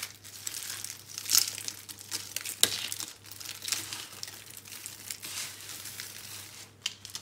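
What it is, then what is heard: Dry soap curls. A cluster of small, hollow, dry green-and-pink recycled soap curls is scooped up and crushed between bare hands above a pile of soap crumbs. The result is a continuous, bright, dry crackling and crinkling with almost no low end, broken by sharper crunchy snaps that stand out around 1.4 and 2.6 seconds. A faint low hum sits underneath throughout.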